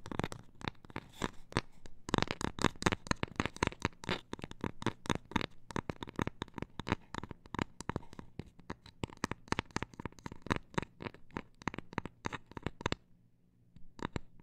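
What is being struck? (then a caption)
Cork coaster. A cork coaster is tapped in a rapid, uneven stream of short, dry clicks with almost no ring. The taps have a soft low body and crisp bright edges. They stop briefly near the end before a few final taps.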